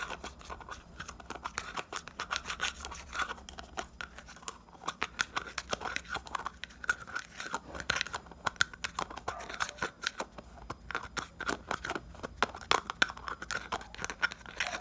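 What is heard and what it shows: Fingertips and short nails rapidly tap and scratch the lid and sides of a small round red plastic hair pomade jar (70 g, 'Killer' label) held in both hands. A fast, dense stream of dry clicks and scratchy rasps is heard, with a hollow plastic ring around 1.5 kHz. The sound is bright with almost no low end, and each tap dies away instantly.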